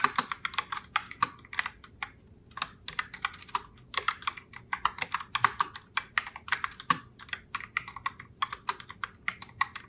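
Fingertips with long nails type continuously on a pink Logitech Pop Keys Heartbreaker Rose mechanical keyboard with round plastic keycaps. The result is a steady, uneven stream of short, sharp plastic clacks and taps that are bright and crisp, with almost no low end and each click dying away instantly.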